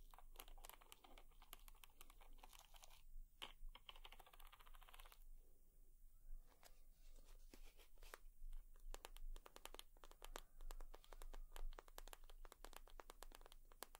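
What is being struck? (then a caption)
Leather purse. Long nails tap and scratch a leather purse, making many quick, bright clicks and dry scratching textures. A steady low hum runs beneath the quiet taps throughout.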